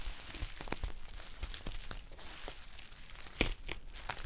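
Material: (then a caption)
Metal foil. A green metallic foil tea pouch is squeezed and crinkled with long painted nails. The result is a dense stream of sharp, bright crackles and rustles over a low rumble, with one louder crisp snap near the end.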